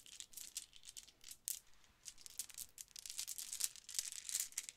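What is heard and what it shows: A multicolor pearlescent plastic Mardi Gras bead necklace with hollow round beads is held in cupped hands, then dangled and let fall into the palm. The beads give off quiet, bright clacking and rattling in quick, uneven bursts, with almost no low end and very short, dry ticks.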